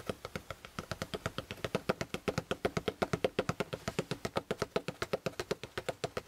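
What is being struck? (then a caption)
Fabric-covered hardcover spiral notebook. Fingertips of both hands tap rapidly on the cover of a closed maroon fabric-covered hardcover spiral notebook resting on a quilt. About 50 short, dry taps land in a quick, uneven rhythm, each a soft muffled knock with a mid-range body and a faint bright edge that dies away instantly.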